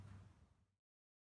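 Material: Nothing is struck.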